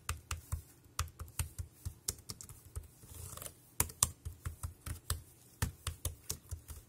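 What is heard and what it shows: Fingertips type on the round keys of a dark grey plastic wireless keyboard, close up. Each press gives a short, dry click with a low thump and a bright tick, in a steady, uneven run with a brief soft rustle near the middle.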